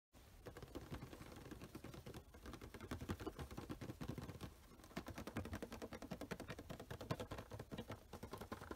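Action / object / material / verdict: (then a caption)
tap / cardboard box with a clear plastic window / cardboard / none. Rapid, steady fingertip and short-nail tapping on a small rectangular printed cardboard Funko Pop box (Luke Skywalker) with a clear plastic front window and a vinyl figure inside, held in both hands. The dense stream of short, dry taps has a hollow, low-weighted thud with little ring.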